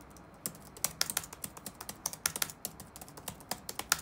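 Fingertips type rapid taps on the black plastic keys of an open laptop resting on a wooden desk. Around twenty short, sharp, bright clicks with almost no low end come at an uneven pace over four seconds, each dying away almost instantly.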